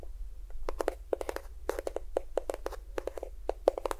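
A small cream-yellow plastic squeeze tube of lotion, hollow and at least partly filled, is rapidly tapped with fingertips and nails close to a binaural microphone. Each tap is a short, dry click with a hollow, plasticky mid tone around 535 Hz. The taps die away almost instantly over a faint, steady low hum.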